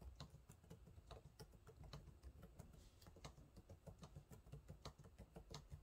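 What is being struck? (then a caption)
Plastic laptop keyboard keys. Fingertips type on the low-profile plastic keys of a silver laptop keyboard, making a steady run of quick, soft taps. Each keystroke is a short, muted thud with a faint bright click on top, and the taps come closely spaced and quiet throughout.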